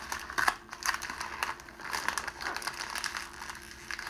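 A sheet of clear cellophane wrapping plastic, crumpled into a small wad, is squeezed and twisted between the fingertips of both hands. It gives a continuous stream of bright, dry crinkles with sharp crackling snaps that rise and fall in intensity and have almost no low end.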